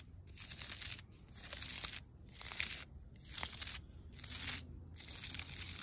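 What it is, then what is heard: Tree bark scratched with nails. Long, pointed red nails scratch along the grooves of the rough, cracked, lichen-covered bark of a large, solid, living tree trunk. Six bright, dry, rasping strokes come in an uneven rhythm, each separated by a short pause, over a faint low rumble.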